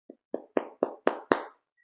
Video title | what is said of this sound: Sourdough Bread | thump the bottom it should sound hollow like it does